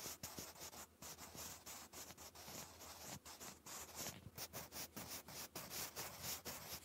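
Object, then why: Wooden pencil on a paper notebook page. A wooden pencil writes cursive words on a lined paper notebook page. Close up, the graphite gives a steady, bright scratching and rubbing, broken into quick strokes by brief pauses.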